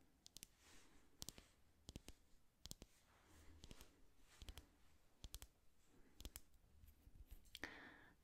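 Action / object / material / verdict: tap / small amber glass dropper bottle with a plastic cap / glass / none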